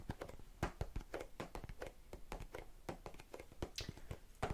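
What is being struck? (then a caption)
Plastic tub of cotton swabs. Long red-painted nails tap and scratch a small, hollow, round blue and clear plastic tub full of cotton swabs. The result is a quick, uneven run of short, dull clicks with brief scratchy rasps between them, mostly low and muffled with little bright content.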